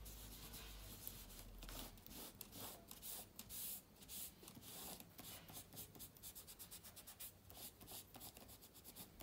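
A hand wipes a silver aluminium laptop's keyboard, with plastic keys set in its aluminium body, using a yellow microfibre cloth. The rubbing gives a soft, bright, scratchy swish that rises and falls in uneven strokes over a low background hum.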